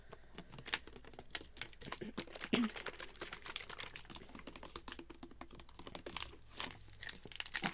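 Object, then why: Plastic drink bottle. A Vitaminwater-style plastic bottle of about 20 oz, hollow and partly filled with yellow-green liquid, is held in the hands, tapped and gripped with the fingertips, then swung and shaken so the liquid sloshes. Quick, dry, bright taps and crinkly plastic crackles come in a fast irregular stream with a few louder knocks. The sounds die away almost instantly, over a faint steady low hum.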